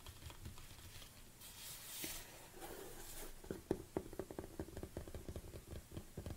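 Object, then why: Large plastic tub. Fingernails tap on the sides and lid of a large black plastic protein tub. Soft rustling and a brief bright swish come first, then a quick series of short, dry, hollow taps with a low plastic tone and almost no ring.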